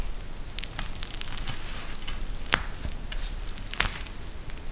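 A pink eye mask with a clear plastic shell filled with gel beads and fabric trim is held in both hands and squeezed by the fingers. A steady, soft crackling and rustling is heard, with two louder, brighter crinkles standing out near the middle and toward the end.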